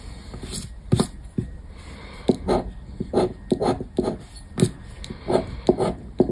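A black disc scraper rubs and scratches the coated play area of a thin paper scratch card resting on a wooden table. Short, uneven bursts of dry scraping repeat through the clip, some with sharp bright edges, over a quiet low background.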